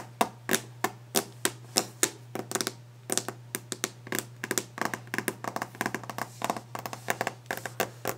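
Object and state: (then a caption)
Varnished wooden desk, solid. Long nails drum very rapidly with their tips on a solid varnished wooden desk top, producing about forty sharp, dry clicks with bright high edges that die away almost instantly. The taps come in quick uneven bursts over a steady low hum.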